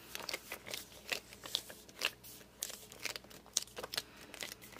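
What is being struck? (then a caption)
Hardcover book with glossy cover. Fingers grip and rub the glossy cover of a hardcover book, working over the back, then with the book tilted, then the front. The result is a quick run of short, bright squeaks and crinkly rubbing sounds, each dying away almost instantly, with almost no low end.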